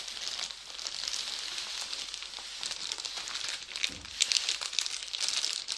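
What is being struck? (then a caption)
Thin plastic bag. A thin, transparent, medium-sized plastic bag with a drawstring, empty and flattened, is held in both hands and crumpled and crinkled by the fingertips. The result is a steady, bright, high-pitched crinkling with almost no low end, and a few sharper, louder crackles toward the end.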